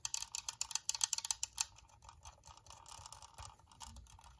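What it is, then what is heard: Plastic UV nail lamp. Long painted nails tap quickly on a white hollow plastic UV nail lamp, producing 13 crisp, bright, high plastic clicks over the first 1.6 seconds. The tapping then turns softer and denser, with a fainter, continuous clatter of quick light taps to the end.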